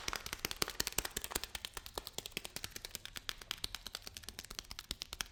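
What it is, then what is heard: Package of lentils. A package of lentils is tapped and handled with quick, irregular fingertip taps, about 46 in all. Each tap is a short, dry, bright click that dies away almost at once, with the grains faintly rattling inside the packaging.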